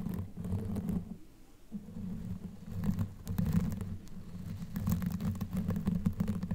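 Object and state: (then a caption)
Knitted yarn microphone cover being scratched. Long nails on both hands scratch a black knitted yarn sleeve pulled over a microphone head. The result is a dense, muffled, low rustling scratch with quick crackly bursts, easing off briefly near the start before continuing steadily to the end.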